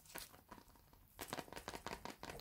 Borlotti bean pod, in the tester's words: you'll probably hear the beans loose inside